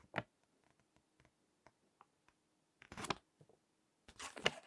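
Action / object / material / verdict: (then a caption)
scrape / paper magazine pages / paper / none. Fingertips with long nails turn and crinkle the text pages of a crinkled paper magazine resting on a table. A sharp crinkle opens the clip, followed by quiet scattered ticks and taps. Two louder, bright rustling bursts of page crinkling come near the end.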